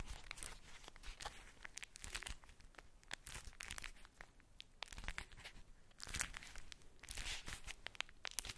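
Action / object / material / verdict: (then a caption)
scrape / ball wrapped in tissue paper / tissue paper / none. A ball wrapped in polka-dot tissue paper is cupped in hands and crinkled and scratched with long nails. A soft, continuous rustle of crinkling paper is punctuated by many quick, sharp, bright scratches and crackles, with louder bursts near 2 seconds and around 6 to 7 seconds.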